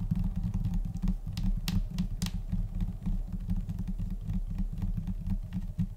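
Both hands tap a large, solid, flat white laminate desk top, likely laminated particleboard, using long orange-painted nails and fingertips in scattered, chaotic rhythms. Quick, dry clicks and soft thuds crowd together over a steady low hum, with a couple of brighter, sharper nail clicks standing out.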